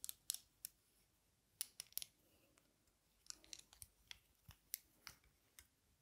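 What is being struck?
Metal-frame sunglasses with lenses.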